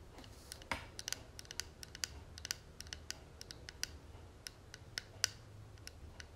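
Long fingernails tap the front panel of a closed, hollow gold and tortoiseshell metal cigarette case held in the hand. The taps come as a quick, uneven run of dry, bright clicks that stop almost at once, with no ringing. A faint low hum sits underneath.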